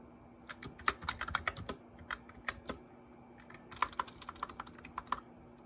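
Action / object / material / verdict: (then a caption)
tap / plastic mechanical keyboard keycaps / plastic / none. Both hands type on a white plastic mechanical keyboard, tapping the keycaps with fingertips and nails. Short, sharp clicks with a bright edge come in two uneven bursts separated by a quieter stretch of scattered taps. A faint steady hum sits underneath.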